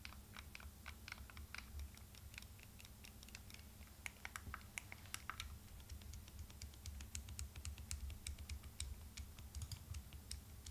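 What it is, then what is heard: Plastic handheld game console buttons. A turquoise Nintendo Switch Lite, a small solid plastic handheld console with a screen, is held in both hands while thumbs rapidly press and click its plastic buttons and analog sticks. Quick, dry, bright clicking taps fall in a steady stream over a low, constant hum.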